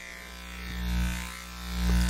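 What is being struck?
Nothing is struck.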